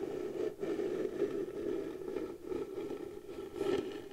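Long blue nails slowly scratch the flat surface of a round piece of pale wood, likely the lid of a round light wooden box. The result is a steady, dry scraping with a warm midrange hum around 355 Hz, broken by brief dips between strokes, and a brighter swell near the end.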